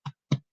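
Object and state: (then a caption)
English muffin sounding more hollow when tapped. Two soft, low taps on fresh English muffins just out of the oven give short, dull thumps around 145 Hz. The muffins still feel fairly dense but sound better, closer to the hollow sound baked bread should make.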